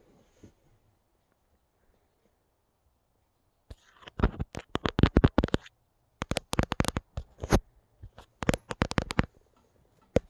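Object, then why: Stuffed knitted yarn pumpkin. Long dark-painted fingernails tap and scratch quickly and unpredictably on a brown hand-knitted yarn pumpkin, about 15 cm tall, with a soft stuffed body and a twine stem, sitting on a couch. After a near-silent opening, clusters of short, dry, muffled taps and scratchy brushes come in irregular bursts, with a final lone tap at the end.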